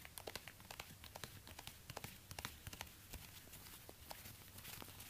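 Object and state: Suede high-heel ankle boot.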